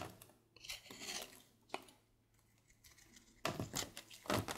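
A palm-sized, solid light-blue oval bar of soap, held in one hand, is shaved with a red patterned carving blade, and thin flakes fall onto a dark surface. Bright, dry scraping and shaving strokes come in short bursts, fading to near quiet in the middle before louder scrapes return at the end.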